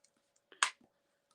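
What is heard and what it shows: A handmade paper Christmas shaker pocket with a foam-sealed window is shaken, and the loose embellishments inside give a single bright click-rattle burst with a few faint ticks before and after. One of the pieces inside got crushed, but the clicking sound is intended.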